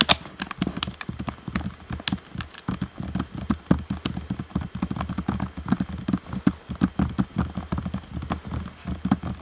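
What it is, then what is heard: Plastic game controller, hollow. Fingertips tap rapidly and continuously on the sides of a hollow, black plastic Xbox One controller shell. Each tap is a short, dry click with a hollow low thump and almost no ring, and the taps run steadily throughout the clip.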